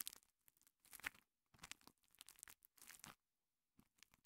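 A small two-layer kitchen sponge of soft, porous green foam on yellow foam, held in fingertips with long painted nails, is rubbed and squeezed against a microphone capsule. It makes quiet, bright, crackling and crinkly scratching in short bursts separated by brief silences, with almost no low end.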